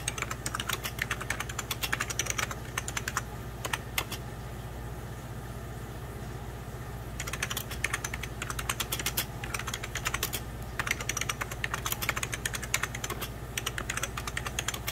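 Fingertips and nails type on the keys of a beige plastic 1990s Packard Bell computer keyboard resting on white cloth, producing rapid, bright, short clicks and taps over a steady low hum. The typing runs densely for about four seconds, pauses to near-quiet until around seven seconds, then resumes as quick, crisp key clatter to the end.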